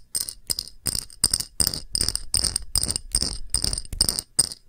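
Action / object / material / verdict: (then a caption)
tap / thick pressed-glass dish / glass / none. Long nails tap an empty, round, thick, clear pressed-glass shallow dish with a patterned rim in quick, irregular bursts. Each tap gives a bright, sharp glassy click with a high ringing tone that dies almost instantly, over a soft low rustle.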